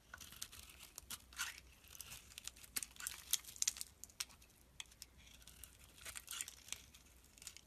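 A utility knife blade shaves chunky flakes off a solid green soap bar held in the hand. The result is a quiet series of crisp, bright scraping and crunching bursts, each with a short tearing rasp and almost no low end.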